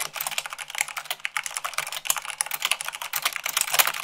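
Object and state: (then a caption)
Mechanical keyboard, fast typing. Fingertips with long nails type quickly on a mechanical keyboard with white plastic keycaps on a black base. The result is a dense, steady stream of bright, crisp clicks and clacks that stop almost instantly, with no low rumble beneath them.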